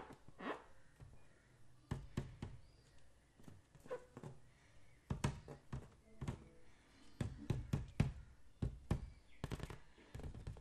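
A green latex balloon filled with liquid, held in the palm, is tapped and knocked with the fingertips while a second balloon sits idle nearby. The result is an irregular series of soft, dull, low thuds that stop short, with occasional brighter fingertip clicks and faint sloshing between the hits.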